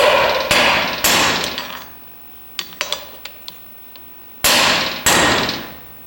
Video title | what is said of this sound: Differential Drive Pinion removal & Installation | how solid that sounds? usually means it's seated